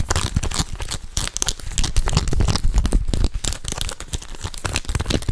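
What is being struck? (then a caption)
Embossed leather handbag. A hollow gold croc-embossed leather tote is held up and scratched and tapped with nails and fingertips. Busy, irregular scratching and quick taps blend into a dense crinkly, papery texture over soft low thumps, with no ring after each touch.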